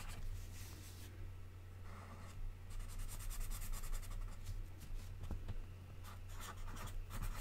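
A colored pencil repeatedly scratches across an open paper magazine page lying flat on a table, shading red triangles in a drawn grid. Quiet, uneven bursts of dry, bright scratching come and go over a steady low hum.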